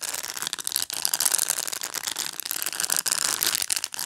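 Fingernails scratch and rub across the plastic bristles of a black pet brush, held face-on. The result is a dense, continuous, bright scratchy rustle, almost entirely high-pitched with no low end, with brief dips between strokes.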